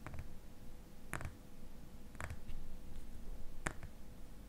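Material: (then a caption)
Glass. Fingernails tap the glass sides of a small glass cream jar, filled with cream and held tilted in the hands. The taps come as short, dry clicks in small clusters, each dying away almost instantly. They sit over a steady low rumble and a faint constant hum.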